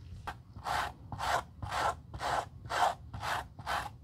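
Gloved hands hold a black suede leather Gucci loafer while a stiff white-bristled suede brush rubs briskly across its toe and sides. Seven rhythmic, raspy brushing strokes come about two per second, each a soft scratchy swish with a bright papery edge. A faint low background hum sits under the strokes.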